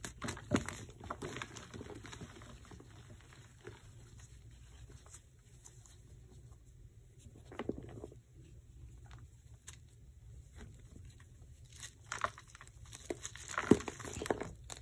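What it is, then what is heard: Gym chalk blocks being crumbled. Bare hands grip and crush solid white gym chalk blocks (magnesium carbonate) in a black bowl, crumbling the chunks into powder between the fingers. Soft, dry crumbling and patter sounds run throughout, with louder crunchy bursts near the start, middle and end over a low, steady background.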